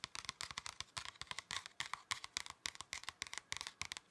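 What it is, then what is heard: Paper folder. Fingernails scratch and fingertips tap the surface of a thin, flat, red paper or card pocket folder. The result is a quick, irregular run of dry, crisp clicks and scratches, bright and papery with almost no low end. Each one cuts off almost at once.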